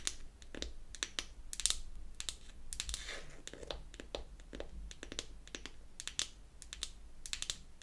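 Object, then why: Small painted wooden compact box. Long acrylic nails tap and scratch the top of a small, round, closed and hollow wooden foundation compact painted pink. The result is a quick, irregular run of sharp, bright clicks with brief scratchy rasps between them. Each tap dies away almost instantly over a faint low background hum.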